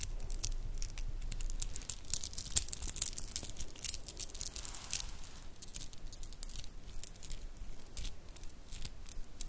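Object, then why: Metal and shell bead bracelet. A metal and shell bead bracelet, doubled over, is squeezed and rolled between the fingertips, then hung over the fingers and shaken near the microphone. Quiet, bright clicks and light jingling come in irregular bursts. A soft low rumble sits underneath.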